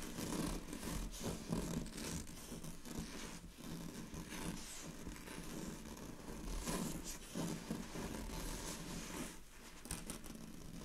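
Long fingernails scratch draped, thin, sheer purple chiffon fabric, making a continuous bright, scratchy rustle. The sound swells and eases in short bursts over a low background hum.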